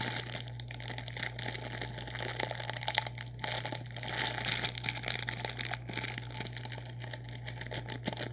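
Fingertips crinkle and scratch a sealed, full orange plastic instant noodle packet. The result is a continuous, bright, dense crackle of crinkling plastic with small louder scratches throughout. A steady low hum runs underneath.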